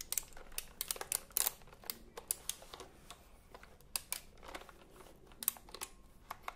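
A retro typewriter-style computer keyboard with round plastic keycaps, held diagonally, has its keys tapped and pressed by fingertips. The result is an irregular run of quiet, sharp, bright plastic clicks and clacks that stop almost instantly, with brief pauses and soft key-travel rustle in between.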